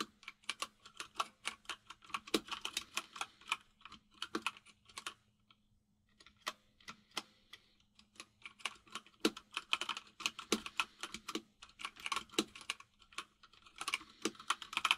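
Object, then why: Plastic mechanical keyboard. Fingertips of both hands type on a full-size plastic mechanical keyboard with white and grey plastic keycaps, producing rapid, bright, crisp clicks in steady bursts. A short pause comes near the middle before the typing resumes, and a faint low hum sits under the keystrokes throughout.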